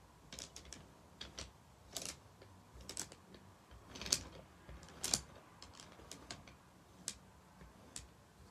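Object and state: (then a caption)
Wooden bead abacus. Fingertips slide the painted wooden beads of a wooden abacus up toward the wooden frame bar, where they clack against each other and the frame. About 15 short, dry, bright clicks come at an uneven pace over a quiet background, each dying away almost at once.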